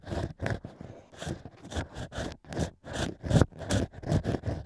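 A bamboo ear pick held in the fingertips scratches inside the hole of a stack of drilled natural cork wine corks shaped like an ear. About twelve short, rough scraping strokes come in an uneven rhythm, each a dry, crackly rasp. The rasps are mostly low and muffled, with faint brighter hiss on top and no ring after each stroke.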